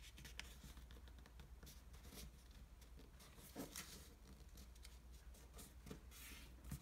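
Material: Paper.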